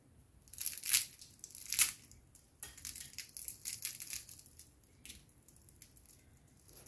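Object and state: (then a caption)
Crispy baked pastry rolls. Homemade rolled brick pastry made from flour and water dough, brushed with butter and baked for 20 minutes at 180 °C, is broken and crushed. Two loud, bright crunches come first, followed by a steady run of smaller dry crackles and snaps. The rolls are very crispy.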